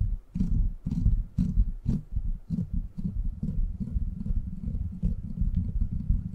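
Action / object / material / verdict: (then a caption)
scrape / steel mesh microphone grille / steel mesh / none. Fingertips scratch the top of a silver microphone's steel mesh grille, then hands cup and rub its sides. The result is a dense run of deep, muffled scratching and rumbling rubs, heavy in the low end with almost no brightness, pulsing steadily throughout.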